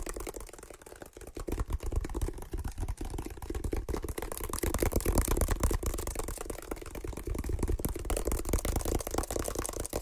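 Fingertips and nails scratch and tap a medium hexagonal woven water hyacinth basket, hollow and empty. Dense, irregular crackling scratches and quick dull taps come about three per second, with a hollow low thump under bright, dry rustle. Each sound dies almost instantly, and the texture swells louder midway before settling.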